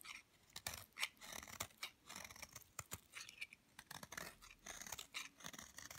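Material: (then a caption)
Soap. A metal knife blade cuts and scrapes a hand-held, palm-sized, solid grey-green bar of hard, dry soap, shedding crumbly flakes onto a wooden board. A quiet, rapid series of dry, crisp scrapes and crunchy cuts, bright and hissy with almost no low end and no ringing.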